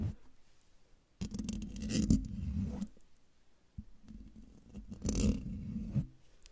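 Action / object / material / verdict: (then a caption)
scrape / metal mesh microphone grille / metal mesh / none. Long dark fingernails scratch and tap the hollow metal mesh grille of a silver microphone. Two bursts of close, rumbly scraping with sharp taps mixed in rise out of near silence, then fade away.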